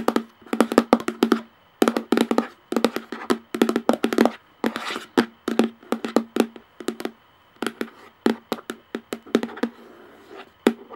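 Long painted nails tap rapidly on the top of a hollow plastic lid on a clear plastic jar. The taps come in quick clattering bursts with short pauses, each a dry, hollow click with a low-mid tone near 240 Hz and almost no ring. A brief soft scratchy wash appears midway.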